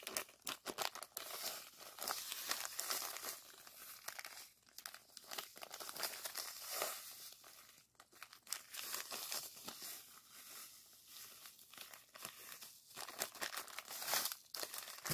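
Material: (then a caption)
Plastic, sand. A small clear plastic zip-lock bag of purple sand granules is held in the hands and squeezed and rubbed with the fingers. The result is a continuous, bright crinkling and gritty crunching texture that swells and dips over about fifteen seconds, with little low-end weight.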